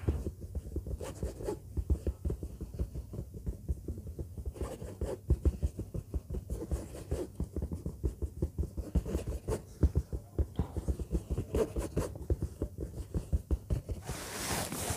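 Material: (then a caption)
Synthetic leather. A large orange textured faux-leather bag lying flat is scratched with the long fingernails of both hands. The result is a steady stream of quick, soft, low-pitched scratches and taps that stay dull and muffled throughout, with a brief brighter rasp near the end.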